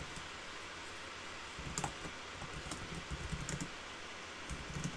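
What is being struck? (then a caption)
Plastic laptop keyboard keys. Fingertips of both hands type on a black backlit plastic laptop keyboard. After about a second and a half of near silence, soft clustered key taps and clicks begin and continue irregularly, each with a low thump and a bright click over a low steady background hiss.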